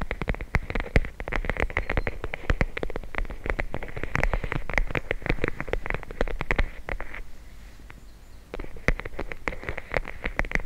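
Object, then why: Plastic bag filled with gel beads. A small, clear, flexible plastic bag full of teal gel beads is held in both hands and tapped and scratched with long blue nails while the beads squish and shift inside. Rapid, sharp, bright clicks and crinkles sit over a soft low rumble, pausing briefly into a quieter stretch near the end before the tapping resumes.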